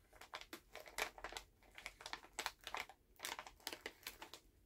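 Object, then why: Plastic candy pouch. A full Halls plastic cough drop pouch is held in both hands while fingertips crinkle and tap the bag. The result is a quick series of sharp, bright plastic crackles with short, dry taps and brief quiet gaps between bursts.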